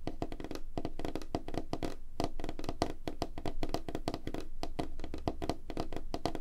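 Fingertips and short nails of both hands tap fast on a flat, light-colored, solid wooden tabletop. The result is a dense, uneven stream of quick, dry knocks with a hollow low-mid thud around 316 Hz. Each tap dies away almost at once.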